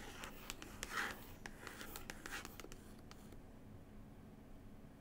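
Long pointed nails scratch across a paper book cover from New Zealand, making quick dry rasps and crisp tapping clicks for about three seconds. The scratching then stops, leaving only a faint hiss and a low steady hum.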